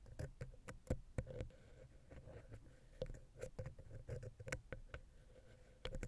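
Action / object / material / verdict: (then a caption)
tap / metal microphone capsule head tapped with a wooden ear pick / metal / none. A wooden ear pick taps and scratches between the capsules of the silver metal X/Y microphone head on a Zoom H6. The result is a quiet, uneven patter of short, dry clicks with low thumps and a faint steady hum near 500 Hz beneath. The strokes are scattered across the clip, with clusters near the start, the middle and the end.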